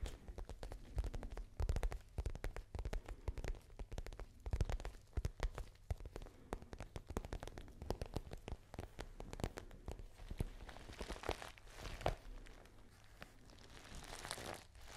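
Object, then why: Patent faux leather handbag. A small pale pink patent faux leather handbag with a gold clasp is scratched and tapped with long nails. Many quick, dry taps and scratches with a low, soft thump sit over a quiet, brighter rustling that grows toward the end.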